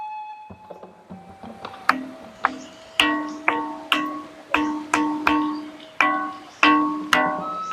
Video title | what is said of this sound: SEJARAH ASAL USUL MISTERI BATU TULIS SANGHIANG DAN PERISTIWANYA #Part1 | batuan berbunyi. Ada bunyinya di sini ada nadanya.